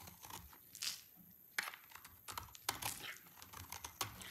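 A utility knife blade scrapes a dry, solid yellow soap bar, pushing crunchy shavings off onto a pile. The sound is a run of crisp, bright crunching and crackling scrapes, with a few sharper snapping peaks and almost no low-end body. Each crunch dies away quickly and dryly.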